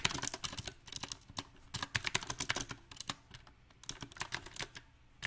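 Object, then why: Mechanical keyboard with round plastic keycaps. Both hands tap rapidly with their fingertips on a compact backlit mechanical keyboard with round plastic typewriter-style keycaps set in silver rings. The typing comes in uneven bursts of short, sharp, bright clicks with brief pauses between runs, each click dying out almost instantly.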